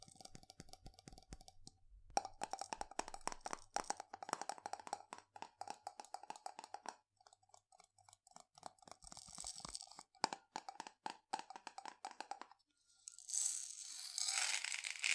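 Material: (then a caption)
Glass. Fingernails tap and scratch a medium glass jar with a gold metal lid, full of dried green lentils, with some tilting. Rapid, sharp, clicky taps with a faint glassy ring around 880 Hz come in quick bursts and pauses. Near the end they give way to a bright, hissing rustle.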